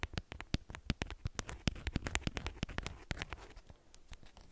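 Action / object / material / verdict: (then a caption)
scrape / beeswax-coated cotton wrap / waxed cotton / none. Long nails scratch and crinkle the twisted ends of a bundled beeswax-coated cotton wrap, producing a rapid run of sharp, dry crackles and clicks. Each click is very short with bright edges over a soft low rustle, and the crackling grows slightly quieter toward the end.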